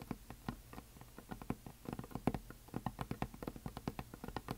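Long nails tap and scratch along the top edge of a flat, solid, heart-shaped painted wooden sign decorated with glitter. A quick, uneven run of soft, dull clicks comes through, low and muted with almost no brightness, each one dying away instantly, with faint scratchy texture between them.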